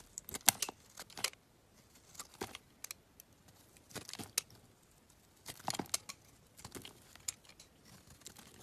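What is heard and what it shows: A metal utility knife blade shaves and carves a hand-sized solid pink bar of soap held in one hand, with the shavings piling up nearby. Crisp, bright scraping and crackling strokes come in short clustered bursts separated by quiet pauses, with almost no low end.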